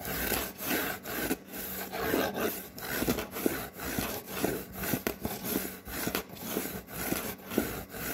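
Fingernails scratch a white cardboard Priority Mail box in a steady back-and-forth rhythm. Each stroke is a dry, papery rasp that swells and fades quickly with no ring, leaving a continuous rough scratching texture.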